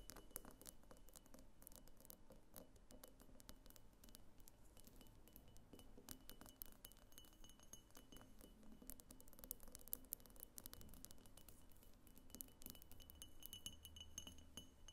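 Long nails tap steadily on the sides and clear base of a medium pink frosted glass diffuser lamp that seems hollow. The result is a quiet, continuous run of quick, dry clicks with bright glassy chinks and almost no ring, over a low, soft background.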